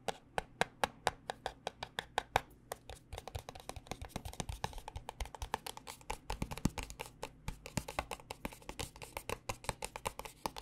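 Long nails tap quickly on the top and sides of a small white paperboard cosmetic box. The taps are short, dry, hollow clicks with almost no ring, centred around 785 Hz. They start evenly spaced and then grow faster and denser.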